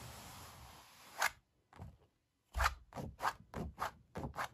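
Fingertips and long black nails work over a painted puppy oil painting on stretched canvas, hollow behind. A steady scratchy rub opens the clip, followed by eight short, dry taps and scrapes with a bright bite and a faint hollow thump from the canvas.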